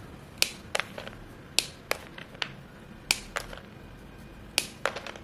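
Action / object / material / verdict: strike / white chalk sticks / chalk / none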